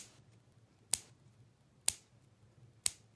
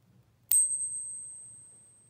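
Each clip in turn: First: Three sharp high clicks that stop dead with no ring, the dull note of a counterfeit dime. Second: One sharp ping, then a pure, very high tone that rings clearly for well over a second: a genuine silver dime.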